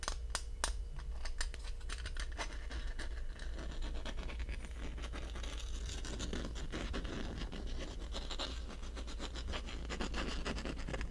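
A small black plastic Sony lens cap, a thin hollow disc, is held in both hands and scratched and tapped with fingertips and short nails close to the microphone ears. Dense, rapid crisp scratching and light clicking ticks run the whole clip over a steady low hum near 59 Hz, with bright, dry transients that die away almost at once.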